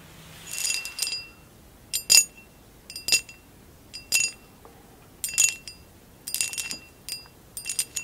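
Long acrylic nails tap a tall, hollow amber glass vase with a basket-weave texture, standing upright and empty. The taps come in quick clusters about once a second, each a bright, high clink with a very short ring and almost no low end, set against a quiet background.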